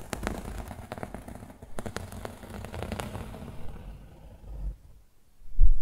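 Fingernails rapidly scratch the grey fabric of a rolled yellow and grey woven fabric pillow, making a dense run of soft, crackly scratches over a low, muffled rumble. The scratching fades into a brief near-silence, then ends with a louder, low, dull thump.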